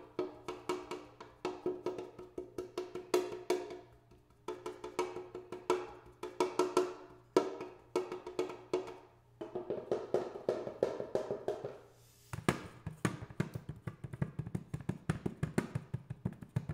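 Metal paint cans are tapped in quick, steady runs of short, knocking hits, each with a hollow tonal ring around 360 Hz that dies away fast. Partway through, the tapping shifts to a deeper, duller knock with more low end, continuing in rapid bursts to the end.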